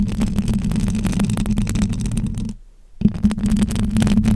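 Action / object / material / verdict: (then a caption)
scrape / metal wire-mesh microphone grille / metal mesh / none. Very long acrylic nails on both hands scratch and rub the silver metal wire-mesh grille of a hollow microphone head. Dense, rapid crackling scrapes ride over a steady low droning tone. The scratching drops to near silence for about half a second just before the 3-second mark, then resumes just as intensely.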